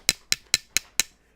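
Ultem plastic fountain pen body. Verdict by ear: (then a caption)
Hard. A custom fountain pen with a body of Ultem, a very hard, stable engineering plastic that resists chemicals, heat and pressure, is knocked five times in a quick, even rhythm. Each knock is a short, bright, high click with almost no low end and no ring. The knocks sound hard, and different from PEEK.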